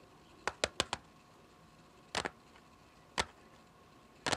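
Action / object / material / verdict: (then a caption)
tap / plastic CD jewel case / plastic / none. Long fingernails tap the top of a small, clear plastic CD jewel case lying flat on a patterned surface. Sharp, bright plastic clicks come in a quick run of four, then a double tap, a single tap and a final short cluster, with quiet pauses between. Each tick is dry and dies away almost instantly over a faint steady hum.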